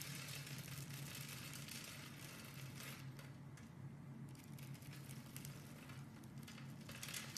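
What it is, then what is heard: Bar soap being scraped. A solid light green bar soap block held in hand is scraped into crumbs with a metal blade. The result is a steady, quiet, dry crackling scrape with bright grainy texture over a constant low hum.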